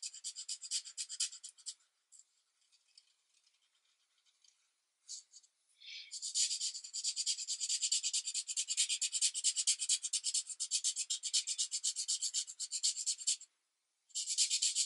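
The felt tip of an alcohol marker, held in the fingers, rubs back and forth across a single thin coloring book page lying flat on a white desk. Bright, high scratchy strokes come in quick bursts, fade to faint scattered scrapes, then return as a long dense run of rapid rubbing. After a short silence, the strokes pick up again.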